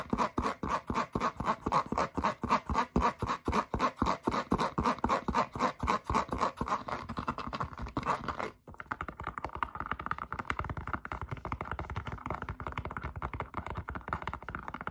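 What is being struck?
Foam rubber clog.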